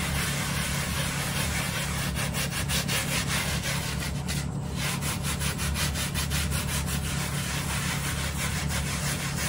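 A small hand brush scrubs a dry brown plush microfiber bath mat lying on a tile floor in quick strokes. Rhythmic, scratchy brushing rasps repeat at about 150 strokes a minute over a steady low hum, with a brief pause near the middle before the strokes resume.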